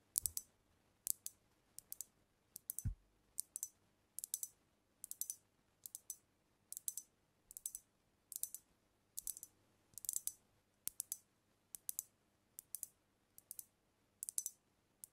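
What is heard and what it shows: Long nails tap rapidly on a brown glass cognac bottle held tilted over the mic. Short bursts of bright, crisp clicks repeat steadily, each dying away almost instantly with a faint low thump underneath.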